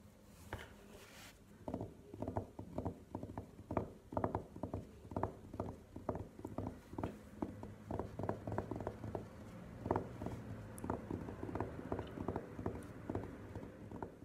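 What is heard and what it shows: A burgundy velvet-covered hard glasses case lying flat is tapped and scratched with long nails. A steady stream of quick, soft, muffled taps with almost no ring is heard, with faint scratching between them.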